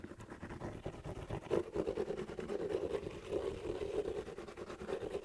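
Fingernails scratch and tap the rubber tread sole of a black slipper shoe held upright close to the mic. The result is a quiet, continuous run of dry scraping and soft ticks with a muffled midrange tone and little high end.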